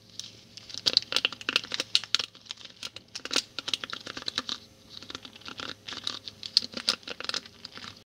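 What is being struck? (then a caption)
Wooden-pin hairbrush. Fingertips and a thumbnail brush and strum the thin wooden pins of a small handheld hairbrush, which has purple ball tips on a purple plastic base and is held close to the microphone. Rapid, bright ticking and scratching clicks come in two dense bursts with a brief lull between them, with almost no low end.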